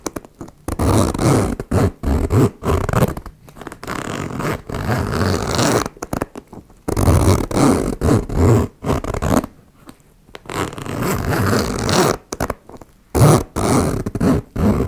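Fingers with long nails slide the pull of a metal zipper back and forth along its teeth on a small turquoise embossed faux leather makeup pouch lying on a wooden table, opening and closing it. Heard are rough, scraping zip strokes in irregular bursts with short silent gaps, their energy mostly low and muffled with little high-end brightness.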